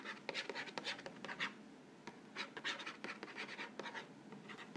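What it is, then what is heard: Cardboard cracker box scratched. Fingernails scratch and rub the front panel of an upright Vegetable Thins crackers box, a hollow printed cardboard box filled with crackers. A string of quick, dry, bright scratching strokes rasps across the surface, with almost no low end and no ring after each stroke.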